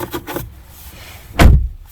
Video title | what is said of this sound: POV: Introducing Hyundai Santa Cruz | when i close the door it sounds solid